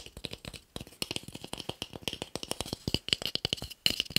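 A small, solid, pale wooden cube held in the hands is tapped rapidly with fingertips and nails, producing about 28 quick, dry, clicky taps in an uneven rhythm. Each tap is bright and dies almost instantly, with a faint wooden tone around 2.9 kHz and little low end.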